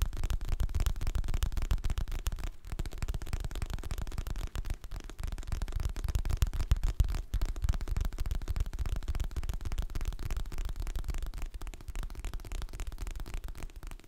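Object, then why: Hardcover paper book with glossy cover. Fingertips and nails tap the glossy printed cover of a solid, medium hardcover paper book held in both hands. The result is a dense, fast, uneven stream of soft, dull taps with almost all their weight in a low thump and very little high detail. Each tap stops dead with no ring, and the steady patter carries through the whole clip with a few brief pauses.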